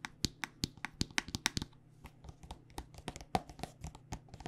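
A white plastic body butter squeeze tube, filled with lotion, is tapped with long nails. The result is a fast, uneven run of short, dry, bright clicks with no ring, first evenly spaced and then quieter and more scattered, over a faint steady low hum.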